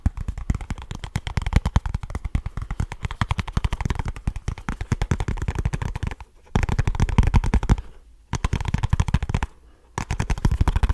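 Fingernails scratch rapidly and fingertips tap fast on a small kraft cardboard product box, making a dense, dry run of quick low thuds and scratchy clicks. The rhythm comes in bursts, with brief pauses near 6.5, 8 and 9.5 seconds before each burst resumes.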